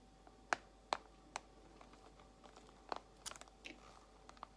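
Long acrylic nails tap slowly on a small clear plastic compartment box holding white false nail tips. About eight quiet, sharp, dry clicks land at irregular intervals, each ending almost instantly with a bright edge. A faint steady tone sits underneath.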